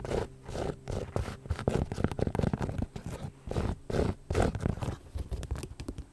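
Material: Rhinestone.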